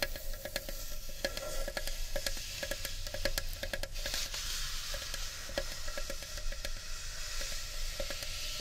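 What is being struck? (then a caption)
Carved wooden bowl. Long nails scratch along the rim and inner wall of a large, hollow, empty carved wooden bowl. The scraping is dry and bright, broken by quick clicks and catches, over a faint steady resonant tone near 550 Hz.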